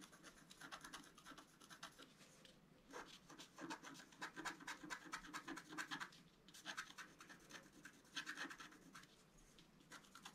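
A wooden scratch stylus scratches lines into the coating of a flat, black-coated scratch art card, about A4 size, lying on a table and held down by one hand. Quick runs of dry, rasping strokes come in bursts, with brief pauses near 2.5 and 6.5 seconds. The sound is bright and papery, with almost no low end.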